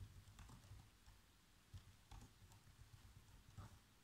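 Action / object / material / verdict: tap / plastic laptop keyboard / plastic / none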